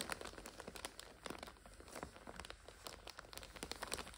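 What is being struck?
Plastic noodle multipack wrapper.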